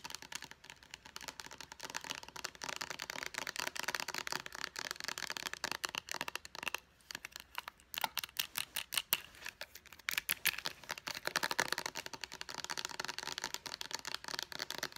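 Long nails tap fast on a small, hollow white plastic bottle of Clean & Clear facial moisturizer with a purple pump top. The result is a dense stream of quick, bright, dry clicks with almost no low end, briefly thinning into more separated taps around the middle before speeding up again.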